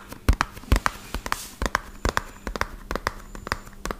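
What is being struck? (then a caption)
Small cardboard box. A small, hollow, white-and-purple printed cardboard medicine box is held in one hand and tapped fast with fingertips and short nails. About 17 quick, dry taps land in an uneven rhythm, each with a dull low thump and a short papery click that dies away almost at once.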